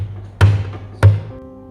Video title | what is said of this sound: Glass Fruit Cake - Transparent Cake - Trending - Party Cake by Venus Rinith | And slowly tap it until you hear the cake comes out.